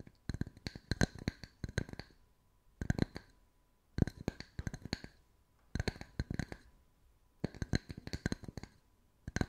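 Two matching small, solid, round wooden tree slice coasters with bark edges, one held in each hand, are tapped and scratched on their flat sanded faces with long white acrylic nails. Quick bursts of dry, clicky taps with a soft low knock and bright nail ticks come in clusters separated by short pauses, each tap dying away instantly with no ring.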